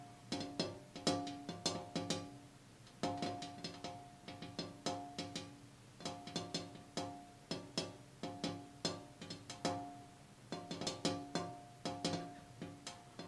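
A glass window pane outdoors is tapped in quick rhythmic bursts with short pauses between them. Each tap gives a bright, hard click with a short pitched ring around 285 Hz that fades within about a third of a second.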